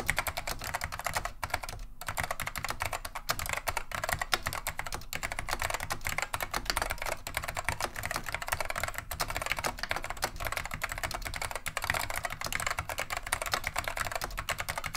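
Continuous two-handed fingertip typing on a beige plastic vintage Wang 725 mechanical keyboard with Alps switches produces a steady, rapid stream of sharp clacky keystrokes for the full clip. The clicks are bright and crisp with very short ring, over a faint low hum.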